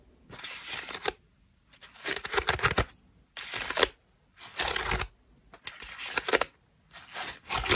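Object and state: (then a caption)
Foam bath loofah. Long nails scratch and tap the ruffled petals of a cream foam bath loofah up close. Six bursts of bright, dry, crackling scratching are separated by short silences, with quick taps mixed into each burst.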